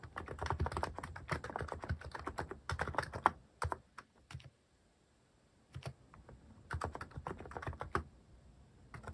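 Fingertips type on a cream plastic-cased mechanical keyboard fitted with cat-themed plastic keycaps, producing rapid, dry clacking keystrokes with short, snappy decay. The typing comes in quick bursts, pauses briefly in the middle to near silence, then resumes at a steady pace.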